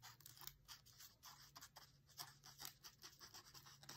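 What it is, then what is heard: Paper page scratched with a dry stem. A dried grass or reed stem is scratched and traced along the printed page of an open paper cookbook lying flat on a table. Quiet, bright, scratchy strokes rise and fall in quick succession over a faint, steady low hum.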